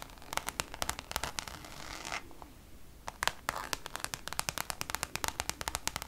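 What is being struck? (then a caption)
Coated canvas zip pouch. Long colorful nails scratch and tap the surface of a flat, hand-sized Louis Vuitton Damier checkered coated canvas zip pouch. Quick, bright, crackly scratches give way to a steadier rasping stroke, then a brief quiet pause. A dense flurry of sharp, dry clicks and scrapes follows, with almost no ring after each one.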